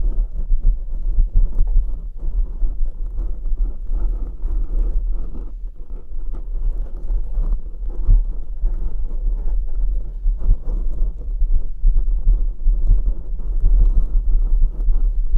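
A black open-cell foam windscreen over a studio condenser microphone in a shock mount is scratched and rubbed with fingertips and short nails of both hands. The result is a continuous deep, muffled rumbling with soft scratchy crackles, almost all energy in the low end and nothing bright.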